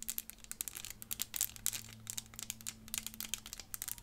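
A small clear plastic 3D elephant puzzle made of interlocking pieces is held in the hands and tapped and scratched with long fingernails. A dense run of quick, bright clicks and crinkly scratches comes over a faint low hum.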